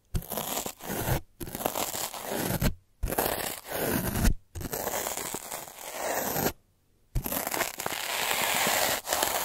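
A black derma roller with metal needles, held by its handle, is rolled back and forth across a flat white paper board block, producing dense crackling, scratchy needle-on-paper texture. The sound comes in several long passes separated by brief pauses, with bright grainy scraping over a low rumbling undertone.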